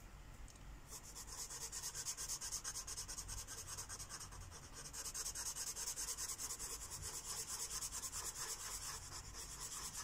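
A purple felt-tip Sharpie marker rubs back and forth across a thin white coloring book page resting on a wooden table, filling in a shape. It makes a steady, bright, papery scratching in quick rhythmic strokes, starting softer in the first second and growing fuller and denser partway through.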